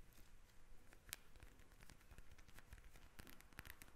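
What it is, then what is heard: Plastic gel-bead eye mask. A pink gel-bead eye mask with a plastic cover lies flat while long red nails from both hands tap and scratch across it. Quiet, rapid crisp clicks and scratchy crinkling run continuously, with sharp bright ticks standing out over a soft low rumble.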